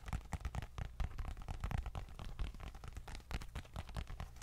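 A small dark leather bifold wallet held in the hand is tapped and scratched with long nails. It makes a quick, irregular run of soft, dull taps with muffled scratching between them. The sound is low and thuddy, and each tap dies away almost at once.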